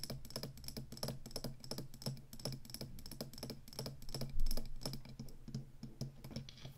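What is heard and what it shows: Long fingernails tap the tall plastic stick of a black plastic Atari joystick controller and scratch its ridged, hollow base. The result is a rapid, steady stream of dry, clicky taps with a hollow low body and bright ticks, with a louder knock near the middle. Each tap dies away quickly.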